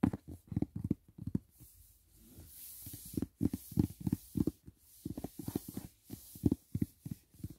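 Fingertips tap rapidly on the lid of a closed, hollow, white rigid cardboard gift box near its corner, making 19 dull, low, hollow thuds that die away almost instantly. The taps come in quick bursts, with a short stretch of soft, faint hiss in between.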